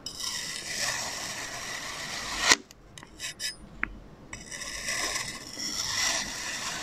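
A metal knife blade held in fingers slices diagonal cuts through a solid, flat blue and orange kinetic sand Among Us figure resting on a white surface. A steady, bright, gritty scraping builds to a sharp peak around two and a half seconds, followed by a quieter gap with a few brief scratches and a small tick. The hissing scrape then resumes and continues to the end.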